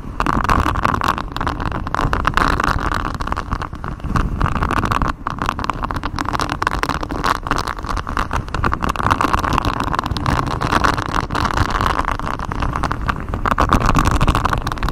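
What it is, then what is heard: Silicone honeycomb mic cover being scratched. Fingers in black knit gloves scratch and rub a thin, hollow, flexible grey silicone mic cover with a raised honeycomb hexagon pattern, bent around the microphone. The result is a steady, dense rubbing and scratching texture with a heavy low rumble and a dull mid-range rasp, carrying little high-end brightness. The loudness stays fairly even throughout, with only a brief dip near the middle.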